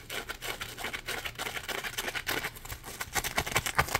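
A yellow Scrub Daddy sponge, a hand-sized solid textured block of polymer foam, is held up and scratched and tapped with fingertips and nails. A quiet, steady stream of dry, bright scratches and soft taps is heard, each one short with no ring. The sound grows slightly louder and more distinctly tapped toward the end.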